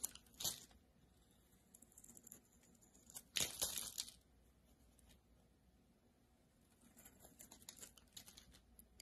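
A solid rectangular blue-and-white marbled bar of soap, held in the hand, is cut into chunks with a metal utility-knife blade. The result is quiet, crisp, bright crunching and tearing, with louder bursts as the blade breaks through early on and again midway, followed by softer, scattered scraping crackles.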